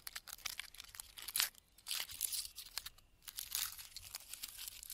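Fingertips with red-painted nails scratch the thick, flaky bark of a large, solid standing pine trunk in a forest. The result is a quiet, dry, bright crackling and crinkling made of many quick scrapes in uneven bursts, with almost no low end.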